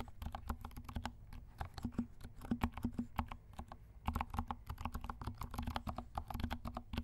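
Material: Plastic.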